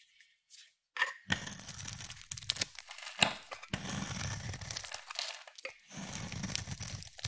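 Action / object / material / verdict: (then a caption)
scrape / solid bar of soap / soap / none. A utility knife blade scrapes across a palm-sized, hand-held solid bar of soap with a pearly blue coating and pink interior, shaving off curls. The result is bright, dry tearing and crinkling scrapes with soft low rasps, in bursts broken by short pauses.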